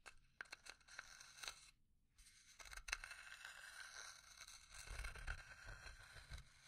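Long nails scratch and tap a small hollow pine box with an engraved lid. Quick, sharp taps and dry, bright scratching come through, broken by a brief quiet pause, then a stretch of continuous scraping with soft, low knocks from the hollow box.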